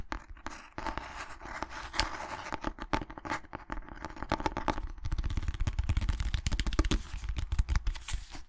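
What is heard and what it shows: Long nails tap and scratch the cover of a small cream cloth-covered hardcover book with a red dot. Dry, rapid taps and scraping strokes run throughout, with a soft low thump under each tap. The tapping grows louder and busier after the midpoint.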